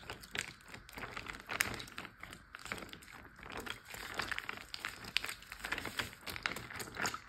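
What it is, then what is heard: Plastic bag filled with water. Fingers and nails pinch, crinkle and tap a large clear plastic Ziploc bag full of water. A steady run of soft plastic crinkling is broken by many sharp, bright clicks and taps. The sound is thin and quiet with almost no low end.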